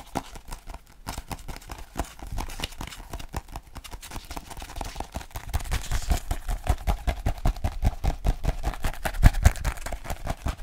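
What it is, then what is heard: Paperback French phrasebook. Fingertips tap quickly on the glossy cover of a small paperback French phrasebook held in both hands. The taps are short, dull, low-pitched thuds in a loose, uneven rhythm, growing louder about halfway through.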